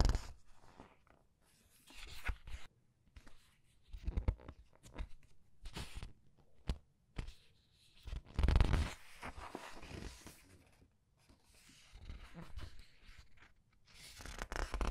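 Long nails and fingertips turn and squeeze the glossy paper pages of a thick hardcover art book lying open on a table. Soft crinkling, sliding and crisp rustles come in irregular bursts, with a louder page sweep about halfway through, separated by quiet pauses.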